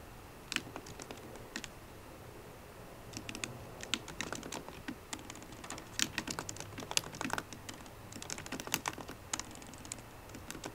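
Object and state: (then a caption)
Laptop keyboard keys being typed on. Fingertips and painted nails of both hands type on the black plastic keys of a solid 13-inch silver aluminium MacBook Pro laptop keyboard. Quiet, bright, clicky taps come in irregular bursts and clusters, each one short and dry with no ring. The result is steady, uneven typing with brief pauses between runs of keystrokes.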